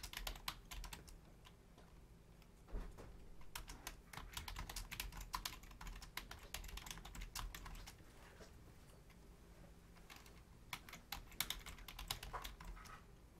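Both hands, using long painted nails and fingertips, rapidly tap the membrane keys of a black plastic Logitech full-size keyboard with a hollow shell. Quick bursts of bright, clicky taps with a soft low thud are separated by brief quieter pauses.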